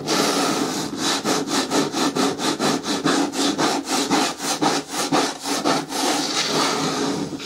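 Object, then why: Hard plastic bin with lid. Long nails scratch back and forth along the side edges of a green, hollow, hard plastic bin with a lid. The result is a steady run of quick, raspy scraping strokes, about two per second, with a bright, hissy texture and a faint hollow body tone beneath.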